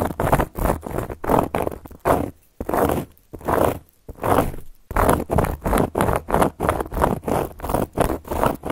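Long gold filigree metal claw nails scratch a round, flat, solid cork coaster board. A rapid series of dry, rasping scrape strokes with a midrange body is heard. After two brief pauses in the middle, the strokes pick up into a steadier, quicker rhythm.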